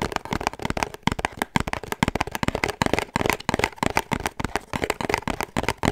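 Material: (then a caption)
Cardboard. A small, hollow pink cardboard perfume gift box with a black ribbon is held in the hands and tapped and scratched with fingertips and short nails. Rapid, dry, hollow taps mix with crisp scratching, each sound stopping almost instantly with no ring.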